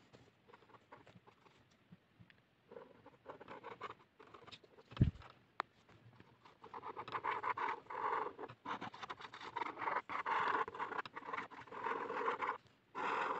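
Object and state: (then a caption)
Ballpoint pen scribbling on paper. A blue plastic ballpoint pen tip scratches across a white paper sheet in rapid hatching and looping scribbles around a drawn figure. Soft, sparse scratching at first, with a sharp tap near the middle, builds into denser, louder continuous scratching in the second half.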